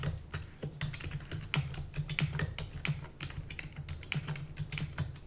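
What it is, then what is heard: Plastic computer keyboard. Rapid typing on a full-size black plastic keyboard with hollow keys, tapped with long natural nails and fingertips. A quick, uneven stream of crisp, bright clicks rides over a steady low hum around 145 Hz, and each tap dies away almost at once.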